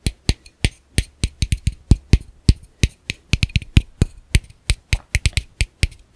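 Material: Plastic.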